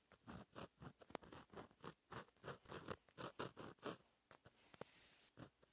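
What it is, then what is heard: Pen writing on a paper notebook page. A fine metal gel pen tip, held in the fingers, scratches across a flat black lined paper notebook page while writing. The result is a quiet run of short, dry scratching strokes with bright, airy texture and a few sharp clicks, broken by brief pauses and a soft sustained hiss near the end.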